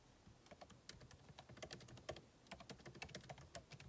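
Fingertips type continuously on the backlit keyboard of a MacBook Pro, plastic keycaps set in an aluminum body. Quick, short key taps click one after another at an uneven pace, each with a bright tick over a soft low thud and almost no ring.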